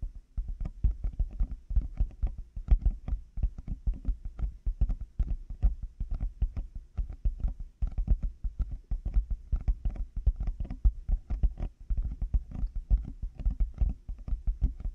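Large black plastic over-ear headphones with padded earcups, mounted on a 3Dio binaural microphone, have their hollow outer shells tapped by both hands with fingertips and nails. The result is a rapid, continuous stream of short, deep, hollow thuds with faint clicky edges, each dying away almost instantly.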